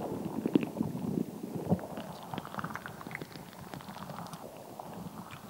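A fist-sized, translucent, soft rubber stress ball full of colored gel beads is held close and squeezed, tapped and scratched with long nails and fingertips. Soft, wet squishing and muffled low-mid thumps, loudest in the first two seconds, give way to quieter, irregular clicks and scratchy taps that continue to the end.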